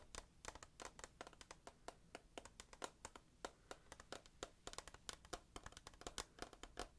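Fingertips and nails tap rapidly on the side wall of a hand-held, rectangular clear plastic tissue box that is hollow and full of tissues. About forty quick, dry, bright clicks and taps come in an uneven rhythm, each dying away almost at once over a faint low hum.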